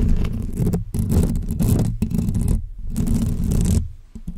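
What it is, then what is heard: Nails scratching a metal mesh microphone grille. Long fake press-on nails scratch directly on the hollow metal mesh grille of a pink microphone, giving a dense, rasping scrape with a heavy low rumble. The scratching comes in several bursts separated by brief silent gaps and trails off near the end.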